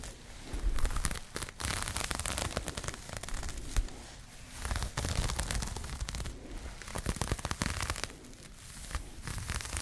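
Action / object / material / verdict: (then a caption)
scrape / crocheted yarn bag / yarn / none. Long nails scratch and rub a pink crocheted yarn bag held close to the microphone. The result is dense, crackly scraping with bursts of quick taps, low-heavy and rustling, that swell and fade over the full length.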